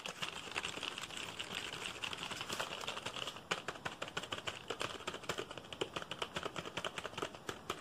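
A black full-size plastic computer keyboard is held up while fingertips tap its keys quickly and hard. The result is a fast, bright clatter of short, dry plastic clicks with little low end. The taps blur into a dense rattle for the first few seconds, then separate into distinct sharp strikes.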